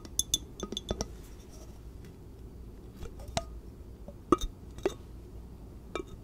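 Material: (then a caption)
Glass. Long nails tap and clink on the walls of an empty, lidless clear glass measuring jar with measurement markings, held hollow in both hands. A quick cluster of bright, short glassy clinks in the first second is followed by sparser, louder taps spread over the rest of the clip. Each clink dies away almost instantly over a soft, steady low background hiss.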